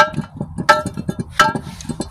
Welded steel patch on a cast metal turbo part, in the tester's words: that's solid that's welded up on both sides so that should be sealed up